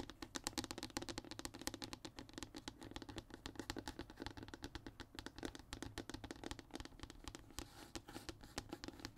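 Fingertips and short nails scratch and tap across the surface of a flat, thin, solid brown hardboard (MDF) fiberboard sheet lying on a table. The result is a dense, quiet run of rapid dry ticks and scratchy strokes with a warm woody body and bright, crisp edges. Each touch dies away almost instantly.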